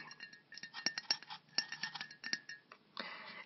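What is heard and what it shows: A small white-printed 1.5 oz aluminum aerosol can of Freezing Hair Spray is held in one hand and tapped with the fingernails of the other. The result is a quick run of bright, clinking metallic taps that die away almost instantly, followed by a brief, steadier rustling noise at the end.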